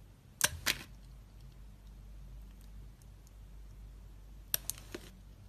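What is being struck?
Glycerin soap bar and metal blade.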